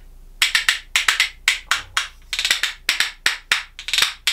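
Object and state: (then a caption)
Katsura wood spoons. A pair of small solid katsura-wood percussion spoons, held back-to-back in one hand, is knocked rhythmically against the hand and knee. The result is a quick, uneven rhythm of bright, dry wooden clacks, often in fast clusters. Each clack is high and crisp, centred near 1.9 kHz, and dies away almost at once with no low-end body.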